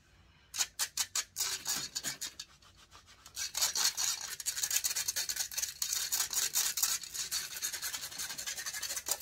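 Fingertips and nails rub and scratch the hollow metal mesh grille of a large silver condenser microphone. Quick, bright scratching strokes come first, then a short quieter pause, and then dense, continuous rasping takes over. The sound is almost all high hiss and has no low end.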